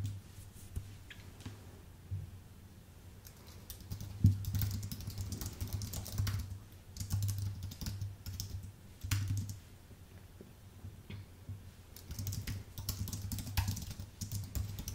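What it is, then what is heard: Plastic and aluminium keyboard. Fingertips type on a white, full-size Apple Magic Keyboard with plastic keycaps on an aluminium base. Quick, light key clicks come in uneven bursts and pauses over a steady low hum near 100 Hz.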